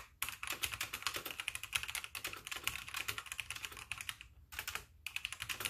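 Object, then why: Plastic mechanical keyboard. Fingertips with painted nails type with both hands on a full-size backlit plastic mechanical keyboard with white plastic keycaps, while the mouse sits idle. Rapid, bright, clicky keystrokes with a clacking tone around 2.5 kHz and almost no low end run steadily, with brief pauses near 4.3 and 5 seconds.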